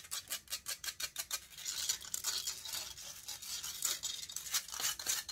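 Long nails scratch the hollow metal mesh grille of a large silver condenser microphone. The sound starts as a quick, regular run of bright, hissy scrapes, then blurs into denser, continuous scratching with sharp high bursts and almost no low end.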